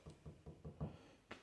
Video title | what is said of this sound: DIY $15 Audio diffusor panel!! | it's not much more than when I tap the table, so that shouldn't resonate too much